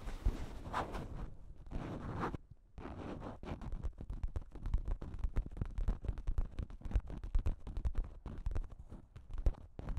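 Long pink nails scratch across a thin pink plastic shower cap with a cat print, stretched over a microphone, making soft crinkly swishing rubs. After a brief pause, the nails tap the plastic in a fast, uneven stream of dull, muffled thumps with little ring.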